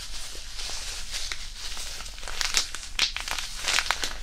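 A small white disposable hand warmer, a non-woven fabric pouch filled with iron powder, is held in both hands over the mic and kneaded and crinkled with the fingertips. It makes a steady soft rustling with bright, crisp crackles over a low background rumble. The crackles grow sharper and louder in the second half.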